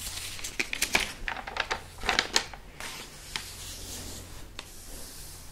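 Fingertips and a palm rub and trace over the printed pages of an open, thin, glossy paper magazine with many pages lying flat, and flip them. Bright, crisp papery swishes and crackles come in a dense burst over the first two and a half seconds. Then it settles into a soft, steady hiss with a couple of isolated sharp rustles above a faint low hum.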